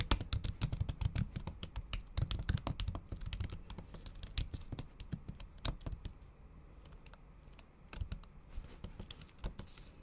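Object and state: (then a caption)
Laptop keyboard with plastic cover, typed with nails. Long acrylic nail tips tap fast and repeatedly on a MacBook keyboard whose solid keys sit under a thin pink patterned plastic/silicone cover. The result is a dense run of short, crisp clicks with a dull low thump behind them. The typing thins out and grows quieter after about six seconds, then picks up again in brief bursts near the end.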